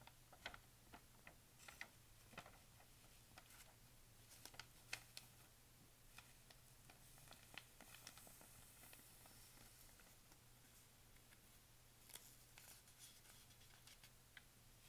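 A thin paper pharmacy advertising flyer lies open flat while a palm and fingertips brush across its pages, then lift and turn them. Soft, bright papery swishes and crisp rustles sound over a quiet, steady low hum.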